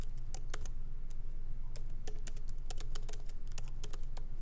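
Both hands type lightly with the fingertips on a MacBook Pro laptop's plastic keycaps, set in its aluminum body, as it sits on a wooden desk. Quick, irregular bright clicks and taps patter over a steady low hum, each tap dying away almost at once.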